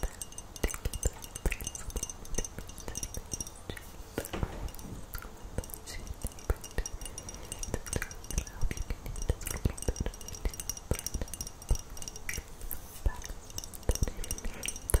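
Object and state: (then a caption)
Frosted glass perfume bottle. A small frosted glass perfume bottle with a silver metal cap, held in both hands, is tapped with long acrylic nails. The result is a dense run of short, dry clicks and light glassy clinks with almost no ring, over a low background rumble.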